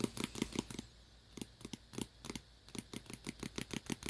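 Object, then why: Tablet cover case. Fingertips tap a tablet cover in quick, irregular bursts, making short dry clicks with a low body and a bright, crisp top. A run of rapid taps is followed by a brief pause, then the tapping resumes in clusters. Each tap dies away almost instantly in a quiet setting.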